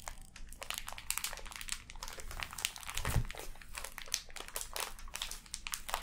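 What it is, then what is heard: Crinkling plastic-wrapped sand package. A full, sealed clear plastic package of pink kinetic sand is held and squeezed while long nails scratch and crinkle the plastic film. The result is a steady stream of dense, bright crinkling and scratching, with a low, soft thump from the squeezed sand near the middle.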